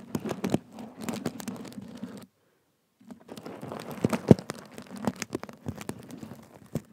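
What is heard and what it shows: Nails and fingertips scratch across the surface of a black and gold sequin cushion, making dense, rapid scratchy clicks and rustles with a steady low hum beneath them. The scratching stops briefly in silence for under a second, then resumes with sharper, more scattered clicks.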